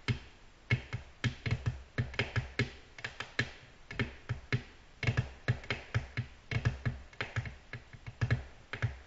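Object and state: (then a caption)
Glass tabletop tapped with fingernails. Long natural nails tap gently on a flat, solid, glossy black glass tabletop. The taps come in quick, uneven clusters over about nine seconds, each a sharp, bright click over a low thud that dies away almost at once.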